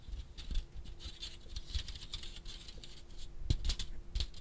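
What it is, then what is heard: Plastic electric fly swatter. A handheld electric fly swatter with a plastic frame, orange grid and metal mesh is held close to the microphone and tapped and scratched on its mesh face and frame with fingertips and nails. The result is a quiet, close stream of soft patters, dull low thumps and bright crisp scratchy ticks, with a few sharper taps standing out.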